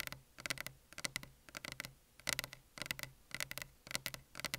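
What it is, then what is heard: Desk surface tapped with fingers. Fingertips tap on a desk surface for ASMR, with no talking. The crisp, bright clicks come in quick clusters separated by short pauses, and each tap stops dead with no ring.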